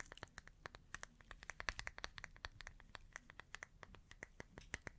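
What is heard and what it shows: Long painted nails tap and scratch the solid wooden back of an oval, hand-sized bath brush with natural bristles and a white strap, held in one hand. A quiet, steady stream of crisp, dry clicks, each dying away almost instantly, is layered over a soft scratchy rustle, with a bright edge on every tap.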